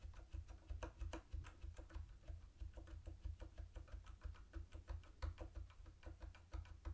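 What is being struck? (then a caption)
Plastic keyboard with round keycaps. Fingertips type on a mint-green plastic typewriter-style keyboard with round white plastic keycaps and a hollow body. A quick, uneven stream of short clacky keystrokes, each with a brief bright click over a hollow low thud, plays over a steady low hum at a quiet level.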